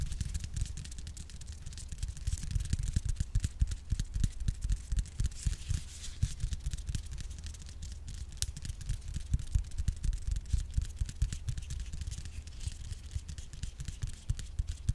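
A white plastic Cantu hair cream bottle, filled with cream and held horizontally, is tapped rapidly with long nails on its label side. The result is a dense stream of fast, dull, low thuds with very little ring, plus faint bright clicks from the nails.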